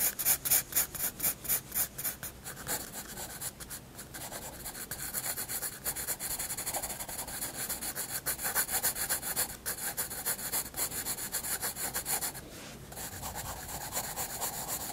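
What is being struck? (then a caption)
Graphite pencil on paper sketchbook page. A pencil's graphite is rubbed across a white paper sketchbook page resting on a wooden desk in shading strokes, making a fast, rhythmic, bright scratchy hiss. The strokes come in quick back-and-forth bursts, loudest at the start, with a brief quieter stretch near the end before the shading resumes.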